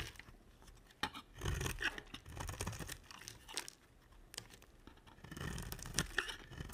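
A utility knife blade shaves the edge of a solid, dry, cream-colored bar soap held in long-nailed hands. Short bursts of crisp, crunchy scraping and tearing are heard, with bright flaky crackle over a soft low rumble, separated by brief quieter pauses.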